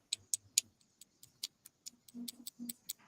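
A piece of a printed part is tapped against a block of aluminum, giving a series of sharp, bright clicks with almost no ring. A faint low hum sits under the taps.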